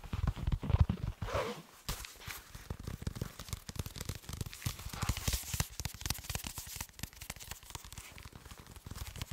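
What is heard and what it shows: Fingertips and nails tap and scratch a black soft body armor panel with a fabric cover and solid flexible layers, held up close in front of the mic. A louder rubbing stretch at the start gives way to a dense run of soft, dull low thuds mixed with dry scratchy crackles. Each tap dies away almost at once.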